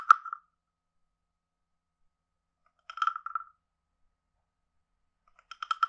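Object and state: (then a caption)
Wooden frog guiro. A wooden stick taps the lower edge of a hand-sized, carved, hollow wooden frog guiro with a ridged back. Three short clusters of quick, hollow, woody taps ring at a clear mid pitch near 1.3 kHz with a faint bright edge. Each cluster dies away almost instantly, leaving long silent gaps between them.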